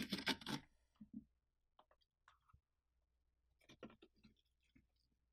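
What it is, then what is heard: Hollowed pumpkin, inner wall scraped. A hand scrapes and rubs the inner flesh wall of a large orange pumpkin with its fingertips while the other hand holds the rim; the pumpkin has an open top and is mostly emptied. A dense burst of broad, bright scraping opens the clip, then fades into softer, scattered rubs and light clicks with quiet gaps, before a second cluster of scratchy strokes toward the end.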